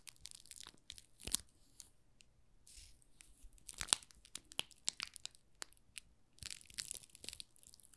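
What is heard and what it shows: A small solid pink rose soap bar, wrapped in thin plastic film with a label, is rubbed and scratched by fingertips and nails. Bright, dry crinkles and crackles come in short bursts, with several sharper snaps standing out.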